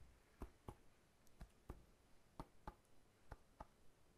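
Fingertips tap the scaly rind of a whole, solid, fresh pineapple with its crown, held horizontally. Eight short, dull, low thuds come in quick pairs, each dying away almost at once with no ring, against a quiet background.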